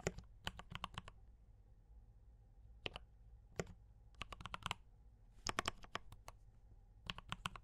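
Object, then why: Mechanical keyboard with plastic keycaps. Both hands type with their fingertips on a compact D84 mechanical keyboard with brown switches and cream and red plastic keycaps. Short bursts of sharp, bright clicks and clacks come in quick runs, separated by pauses. A faint, steady low hum sits underneath.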